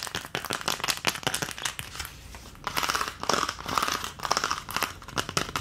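Long nails tap and scratch rapidly over the round cavities of an empty green plastic ice cube tray. The result is a dense stream of bright, crinkly clicks and scrapes with a hollow plastic tone near 1.2 kHz. A quieter scratching stretch in the middle gives way to bursts of faster, louder tapping.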